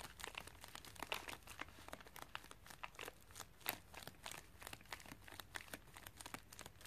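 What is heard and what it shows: Long dark fingernails tap and scratch across the top of a white padded plastic mailer bag lying on carpet. A steady stream of quick, bright crinkles and crackles is heard, with no ringing after each touch.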